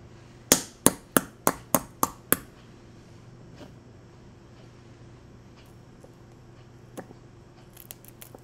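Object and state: Boiled eggshell, cracked by tapping.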